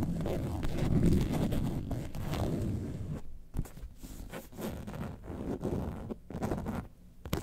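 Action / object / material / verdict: scrape / faux leather carton-shaped bag / faux leather / none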